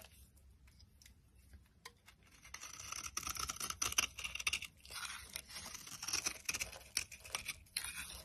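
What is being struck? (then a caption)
Solid bar soap cut with a blade. A box cutter blade carves flakes off a solid cream bar of soap held in the hand. Dry, crisp scraping and crunching strokes come in an irregular run, bright and hissy with almost no low end. They start sparse and quiet, then grow denser and louder after the first couple of seconds.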